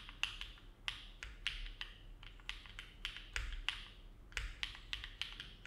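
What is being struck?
Mechanical keyboard with metal plate and plastic keycaps.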